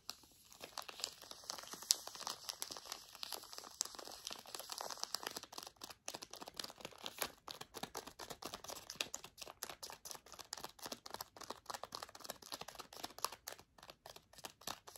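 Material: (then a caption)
Plastic foil. A Zbar snack bar in a plastic foil wrapper is crinkled, scratched and tapped with long nails. Dense, bright crinkling and crackling runs throughout, with quick sharp clicks and almost no low end. Toward the end it breaks into more separated, rapid taps.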